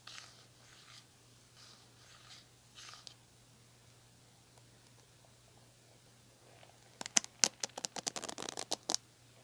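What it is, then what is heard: Plastic paddle hairbrush. Long nails tap the smooth plastic back of a red plastic paddle hairbrush, then scratch and pluck its plastic bristles. Soft, breathy scratching strokes come first, followed by a quiet pause and then a quick, irregular run of sharp, bright clicks near the end.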